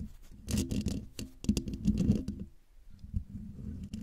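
Long dark-painted nails and fingertips scratch and tap the hollow domed woven metal mesh grille of a silver Blue Yeti microphone. Close, low-heavy rasping scrapes come in dense bursts with sharp crackly ticks, then ease into a quieter stretch before softer scratching resumes.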